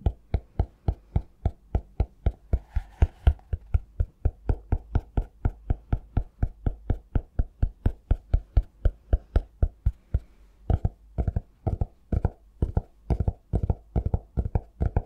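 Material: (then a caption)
Cork. Fingertips and nails tap and scratch the cork cover of a cork-covered notebook held close to the mic. A steady run of dull, low, quick-dying knocks continues throughout, with a brief scratchy rustle near the 3-second mark and a short gap just after 10 seconds before the tapping resumes in tight clusters.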